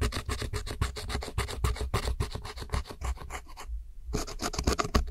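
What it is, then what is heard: Pressed powder eyeshadow being scraped. A metal hook tool scrapes and rubs the dark pressed powder wedges and the center pan of a pressed powder eyeshadow in a round plastic palette. Quick, uneven scratching strokes run almost continuously, with a dull low thump under each rasp and a bright gritty edge. The strokes stop briefly near the end, then resume.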